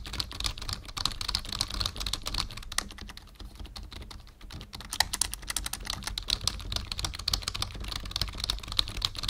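Fingertips of both hands type rapidly on a black full-size plastic membrane keyboard with a numpad, resting on a wooden desk. The result is a steady stream of short, bright plastic key clicks over soft low thuds, with a brief lull partway through.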